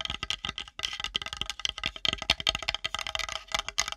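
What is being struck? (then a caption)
Wooden plate. Long nails tap and scratch fast along the edge and top of a flat, solid, light-colored wooden plate held edge-on above a microphone. The result is a dense, uneven stream of dry, bright clicks and scrapes that stop almost instantly, with very little low end.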